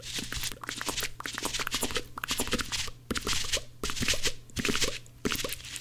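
Two dry blue cellulose kitchen sponges are held together and squeezed and rubbed between both hands close to the microphone. They make dense, bright, crunchy crackling and scratchy rasps in irregular fast bursts separated by brief pauses, over a faint steady low hum.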